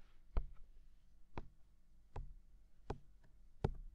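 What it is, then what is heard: Silicone ear of a binaural microphone tapped. Fingertips tap a hollow, mounted white silicone ear of a binaural microphone five times at a slow, steady pace. Each tap is a short, soft, muffled thud, low and dull, dying away almost instantly into near silence.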